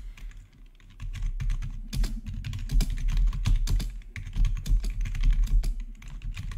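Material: Plastic.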